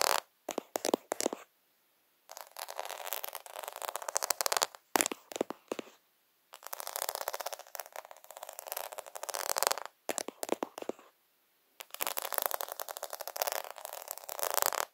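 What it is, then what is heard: Plastic faux pearl sticker sheet. Fingertips tap and scratch along the bead rows of a plastic faux half-pearl sticker sheet. Short bursts of quick, dry clicking taps alternate with longer stretches of dense, rasping scratches, bright and crisp with no low end and no ring after each contact.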